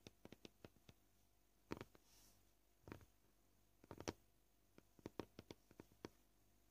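Short purple nails tap a flat white plastic cutting board, sometimes with single fingers and sometimes with the whole hand. Quiet, dry clicks come at an uneven pace, with quick bursts of taps between short pauses. Each tap dies away almost instantly against a faint background hiss.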